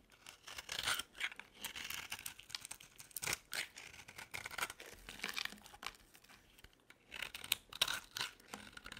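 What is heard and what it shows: A metal utility blade scrapes curls off a solid yellow and blue bar of dry soap held in the hand. The result is a series of dry, bright, raspy shaving strokes in bursts, with crisp crackling and almost no low end.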